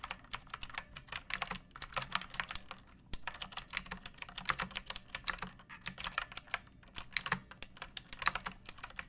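Fingertips and long painted nails type steadily on a pink plastic mechanical keyboard with round backlit keycaps and a hollow body, resting on a wooden surface. The keystrokes are quick, bright, clicky taps that die away almost instantly, coming in irregular bursts with brief pauses over a faint low background.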